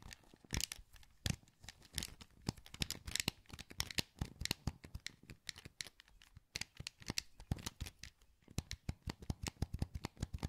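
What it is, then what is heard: Plastic game controller. Thumbs click the buttons of a hollow, translucent green plastic PS2 wireless controller held in both hands. A quiet, rapid series of short, dry clicks and taps follows, each with a low thump and a bright, crisp edge. The clicks stop instantly, with no ring.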